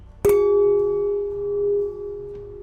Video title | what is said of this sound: Surprising Myths That Are Actually True | For something like a wine glass the resonant frequency is roughly the sound you'd hear if you tap the glass and let it ring out.